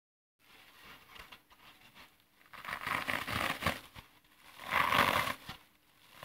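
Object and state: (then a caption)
Dry floral foam block being crushed. A rectangular, roughly brick-sized block of dry green phenolic floral foam, solid, porous and brittle, is held in both hands over artificial grass and pressed with the thumbs, leaving dents. Soft, crunchy crushing and crackling rises in bursts, with the loudest, brightest crunches near the middle and again toward the end before fading to quieter crackles.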